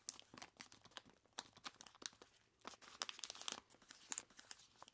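Long plastic claws grip and scratch the sides of a large clear plastic bag full of ice cubes. The result is a quiet, dense run of bright crinkling and crunching with short, sharp scratches that die away almost at once.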